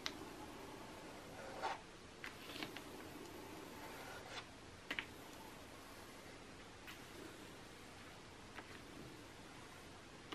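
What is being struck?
Glossy coated paper magazine page.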